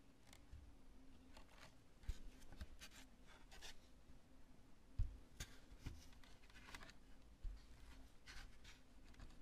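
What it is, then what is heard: Cured polyurethane spray foam, scratched and tapped. Long nails scratch and tap a large cured chunk of polyurethane spray foam covered in bubbly knobs. Soft, dry scratching and rubbing is broken by brief bright ticks and taps over a low, steady hum.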